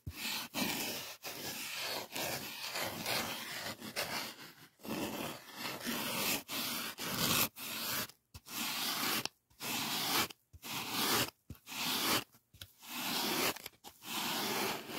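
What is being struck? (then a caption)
Polyethylene foam sheet. Fingertips scrape and rub along the edge of a white polyethylene packing foam sheet. Bright, hissy, scratchy rubbing comes in uneven bursts, broken by short silences that grow more frequent toward the end, with little low-end weight.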